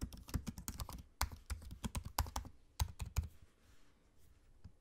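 Fingertips type on a MacBook-style laptop keyboard, tapping low-profile plastic keycaps set in a space-grey aluminium body. The keystrokes are short, dull taps with a low thump, coming in quick irregular bursts through the first three seconds before the sound thins to a faint hiss with only a few scattered taps.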